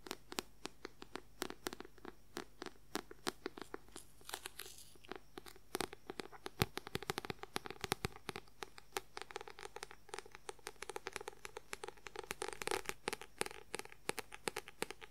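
A paperback book with a white paper cover is scratched and tapped quickly with fingernails. Dense, rapid, crisp clicks and dry papery scratches run continuously over a low, steady background hum. Each click decays almost at once.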